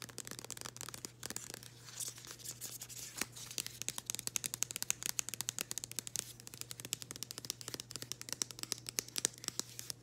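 Long green acrylic nails scratch and tap across the label and printed surface of a flat, floral-printed cardboard package held in both hands. Rapid, crisp, bright scratches and clicks come in quick irregular bursts and stop dead with no ring, over a faint steady low hum.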